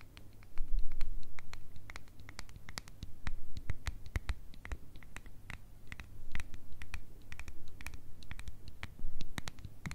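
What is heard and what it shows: A full mini glass Nutella jar, turned over, is scratched and tapped with long red nails on its lid and glass. Dense, rapid, sharp clicks and taps with bright transients sound over a low steady hum, coming in louder bursts and scratching stretches.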